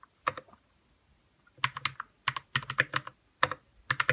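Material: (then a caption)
Plastic. Fingertips type on a white 60% RK61 mechanical keyboard with plastic keycaps and lubed red switches. About 18 short, crisp keystrokes come in quick bursts separated by brief silences, each a dry mid-toned clack with a bright edge that dies away almost instantly.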